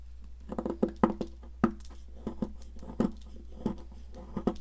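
A metal palette knife scrapes and carves chunks off the end of a solid blue popsicle-shaped sidewalk chalk held at an angle on a plastic mat, and the powder piles up. Short, dry, crumbly scrapes and crunches sound in quick uneven bursts, with a few sharper snaps, all mostly low-to-mid in tone over a steady low hum.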